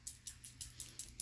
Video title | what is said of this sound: Elf Camo CC Cream & Kosas 10 Second Eyeshadow // Try On & Wear Test! | shake it until you hear the little thingy i hear the little thingy